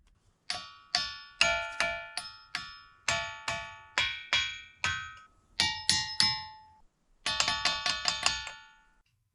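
A hammer strikes volcanic rock boulders in the pile at Montana's Ringing Rocks 20 times, each hit giving a bright, bell-like metallic ring with high overtones that fades quickly. The strikes come in an uneven rhythm, with a fast run of hits near the end. These rocks keep their ringing voice only while they stay in the pile and lose it once removed.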